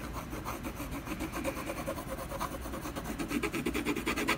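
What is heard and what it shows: A brown colored pencil vigorously hatches a tree trunk on a solid canvas panel. Quick back-and-forth strokes make a steady, rhythmic, dry scratchy rasp with a gritty, mid-heavy texture and some bright hiss, slightly louder toward the end.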